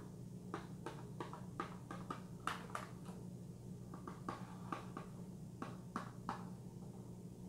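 A fingertip and nail tap the front of a small, hollow Vitron-C iron cardboard supplement box in a quick, uneven series. Each tap is a short, dry, hollow knock that dies away almost at once, over a steady low hum.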